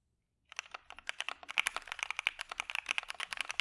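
Fingertips of both hands type in a steady keypress pattern on a full-size dark-cased mechanical keyboard with white PBT keycaps, a POM plate and PE foam, starting about half a second in. The result is a fast run of crisp, bright clicks centered near 2.2 kHz, each dying away almost instantly, with nothing in the low end.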